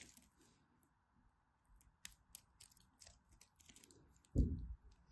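A blue-and-white striped bar of soap, held in the hand, is scraped and carved with a small craft knife, and the shavings fall onto a pile of soap flakes. Soft, crisp scratches and faint bright ticks come through in a quiet, low hum. Near the end there is one louder, deeper rustling thud.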